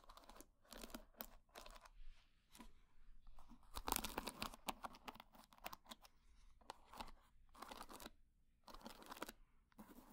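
Long dark-painted nails scratch and run across the wooden pins of a small wooden paddle hair brush with a solid wood body. The result is a quiet series of dry, raspy, crackling bursts with a bright, papery texture and short pauses between strokes.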